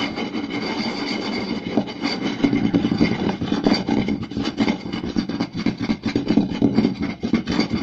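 Both hands rapidly tap fingertips and scratch nails across a round, solid wooden plate with a rim. The result is a dense, irregular stream of short, dry knocks with a woody body around 280 Hz, layered over a continuous raspy scratching texture. It starts as steady scratching, then the taps turn sharper and more forceful.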